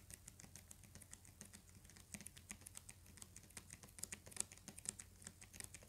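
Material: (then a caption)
Paper, cardboard. Fingernails tap quickly on the cover of a thick, solid hardcover paper book with a paper dust jacket. The result is a quiet, rapid patter of short, bright clicks that stop instantly, over a faint low hum.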